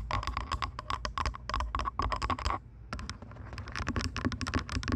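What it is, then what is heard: Plastic headphones. Long nails tap rapidly on the plastic earcups of purple over-ear headphones resting on a microphone, producing a dense run of sharp, dry clicks over a steady low rumble, with a ringing tone near 1 kHz in the first half. The tapping pauses briefly around 2.7 seconds, then resumes with brighter, scattered clicks.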